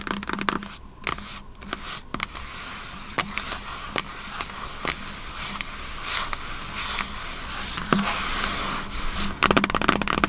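Long acrylic nails tap and scratch across the top lid of a large, hollow, white printed cardboard MacBook Pro box resting on a table. Sharp, dry clicks land at irregular intervals over a steady bright scratching hiss, ending in a quick flurry of rapid taps.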